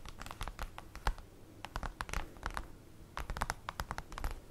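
Long acrylic nails scratch and tap with their tips on a large, flat, black printed cardboard folder lying on a table. The result is a quick, uneven run of short, dry ticks and scrapes, bright and clicky, with almost no ring and a soft low rumble underneath.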